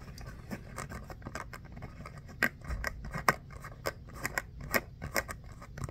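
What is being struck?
Small textured foam ball.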